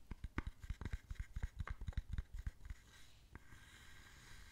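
Long nails tap quickly on the side and front of a small, hollow wooden box held in the hands, with stamps inside. They make a run of about 16 short, dull, low knocks over the first three seconds. The tapping then gives way to a soft, bright scratching with one more knock.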